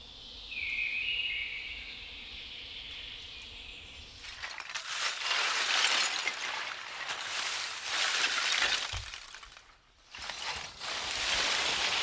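Birdsong fills the first four seconds. Freshly harvested wood charcoal from the kiln, some pieces still glowing and about to be extinguished, is then handled. The pieces clink and rattle with a bright, glassy, shattering sound in dense irregular bursts, with a brief lull near ten seconds.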